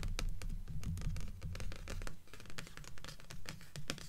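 Long fingernails tap and scratch continuously across the cardstock top cover of a stack of blue paperback books resting on a table, the pile forming a solid block of paper. A dense, uneven patter of dull, low taps mixes with bright, scratchy strokes, and the sound stays steady with no pauses.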